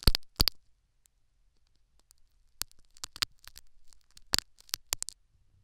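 A metal syringe needle scratches and pokes the foam plug in a silicone dummy ear, picked up by a foam-plugged silicone ear microphone. Sharp, bright clicks and soft scraping come in irregular bursts, with two strong pokes at the start, then a quiet pause, then a busier stretch of crackly scratches and pokes.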